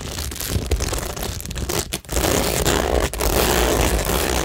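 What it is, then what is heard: Cork board with plastic rhinestones, scratched. Long nails scratch along rows of plastic stick-on rhinestones glued to a cork tingle board. The sound is a dense, continuous rasping scrape, bright and gritty, over a steady low rumble. It breaks off briefly near the middle and again shortly after before the scratching resumes.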